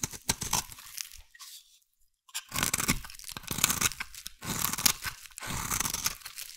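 A metal blade scrapes a solid, hand-sized bar of brown soap, peeling off curls. Bright, dry crunching and shaving sounds come in several bursts of strokes, with a short silent pause a little after the first second.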